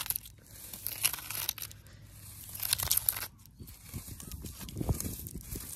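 Long, pointed wooden-stick fake nails on the fingertips scratch and tap the rough bark at the base of a living tree trunk standing on grass outdoors. Dry, crackly scraping with a bright, hissy top mixes with soft, dull knocks low in the range, and the sound briefly drops quiet just past the three-second mark before the tapping and scratching resume.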